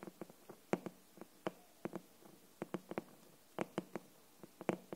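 Long nails and fingertips tap and scratch the flat, glossy green paper-covered board cover of an upright hardcover copy of "Anne of Green Gables." About eighteen quick, dry taps with a hollow low-mid thump land at an uneven pace, each dying almost instantly. Faint soft scratching sits between them.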